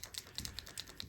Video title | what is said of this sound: A Few of my Favorite Things: Gifts for Artists 2025 - Set of 24 Hotu Glitter Markers | Shaking it up. You can hear that ball bearing in there.